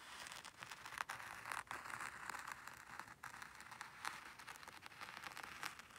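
A small wooden rake combs curved lines through fine white sand in a black hexagonal tray. It makes a quiet, steady, grainy scraping rustle, concentrated in the mid and high range with almost no low end. Brief brighter crackles rise out of the texture every few strokes.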